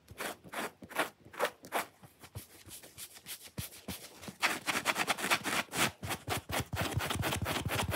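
Fingernails quickly scratch the face and curved edge of a small, dry, watermelon-shaped foam kitchen sponge made of soft solid foam with a pale scrubbing layer along its curved edge. Bursts of bright, raspy, dry scratching come in an irregular rapid rhythm, each stroke short with no ring. The strokes grow denser and louder in the second half until they blur into near-continuous scraping.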